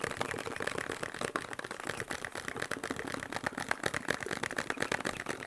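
A small, hollow, printed cardboard medicine box with a shield-and-cross logo is held up and tapped quickly with fingertips and nails. The result is a steady, dense stream of crisp, papery taps with a hollow midrange knock and a bright clicky edge from the nails. Each tap dies away almost instantly.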